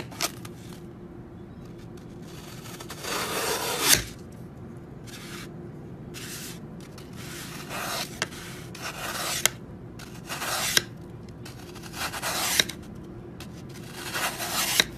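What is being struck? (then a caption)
Floral foam block. A metal serrated knife held in the fingers saws down into the top of a large, dry, solid green Oasis floral foam brick resting on a white surface beside a foam slab. Repeated bright, rasping scrapes cut through the porous foam in bursts, with sharp crackly peaks between them over a low steady hum.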